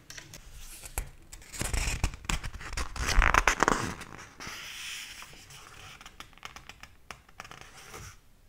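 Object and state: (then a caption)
Large paper hardcover book. Fingertips rub across the paper pages of a thick, open hardcover book lying on a table, then turn and flip them. Soft scratchy rubbing and crisp papery rustles build to a louder swell of page flipping around the middle, then settle back into quieter scraping with scattered sharp little clicks.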